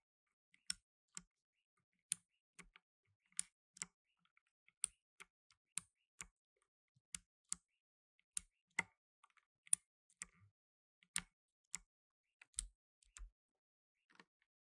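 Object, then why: Plastic mechanical keyboard. Blue nitrile-gloved fingertips press keys on a black tenkeyless mechanical keyboard with plastic keycaps. Sharp, bright clicks sound one at a time at an uneven, unhurried pace, each dying away almost instantly against near silence.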